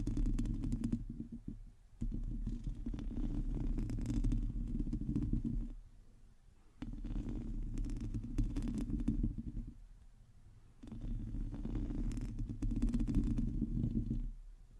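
Nail tips of both hands scratch the hollow metal mesh grille of a black microphone, making a dense, low, rumbling scrape centered near 70 Hz with rapid, slightly uneven strokes. The scratching comes in four sustained bursts separated by brief quieter gaps, with almost no bright or high content.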